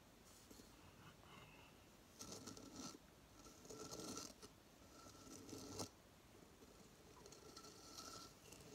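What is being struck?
Coconut shell hideout.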